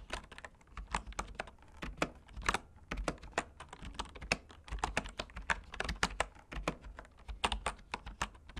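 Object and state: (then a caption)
Bamboo keyboard typing. Fingertips type continuously on the keys of a bamboo wood keyboard. The result is a dense, irregular run of short, dry clicks and taps with bright tops and a soft low thump beneath, each stroke dying away almost instantly.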